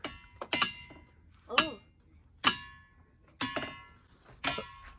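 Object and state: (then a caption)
Ringing rock. A boulder in the Montana ringing rocks field is struck with a hammer about eight times at an uneven pace. Each strike gives a bright, high metallic clink with a brief ringing tone that fades quickly.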